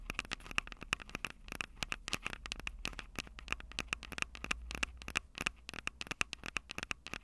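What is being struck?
Handheld recorder with plastic body and metal mic grilles.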